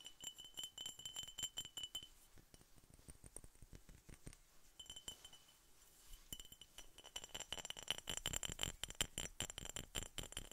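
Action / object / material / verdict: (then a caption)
tap / glass soda bottle / glass / none. Steady tapping on a glass Coca-Cola bottle produces a quick run of bright, clear glass clinks with a ringing tone around 3 kHz. Each tap dies away almost at once. The tapping eases off in the middle and then picks up again, denser and louder, toward the end.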